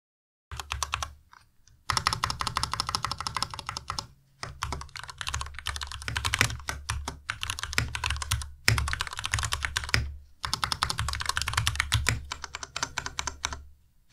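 Fingertips of both hands type continuously on a white Ducky Miya Pro tenkeyless mechanical keyboard with plastic keycaps and Cherry MX Red switches. Rapid keystrokes come in dense bursts with short pauses between them, each a bright clack over a low, hollow thud. The taps stop quickly, with little ring after each one.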